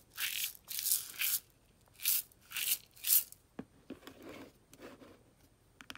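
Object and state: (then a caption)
Plastic tub of coarse salt crystals. A white plastic tub of aquarium salt with a lid, filled with coarse salt crystals, is held in the hand and shaken and tilted, with long dark nails resting on its sides. Six bright, hissing rattle bursts of crystals sweep through the tub, then give way to sharp little clicks and softer scratching against the plastic.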